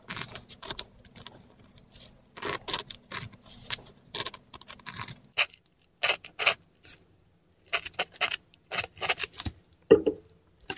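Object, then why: Paper sheet under a metal pen nib. A metal dip pen nib scratches script and Cyrillic letters in ink across a flat, textured Korean paper sheet. Short, dry scratching strokes come in quick bursts separated by brief pauses, with bright papery rasp and a faint low hum under the first half.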